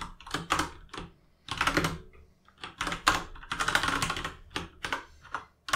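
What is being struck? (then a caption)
Mechanical keyboard with plastic keycaps. Both hands type with their fingertips on an RGB mechanical keyboard with plastic keycaps, producing steady bursts of bright, clicky key taps. Each short clack is centered around 1 kHz with quick decay, and brief pauses separate the runs of typing.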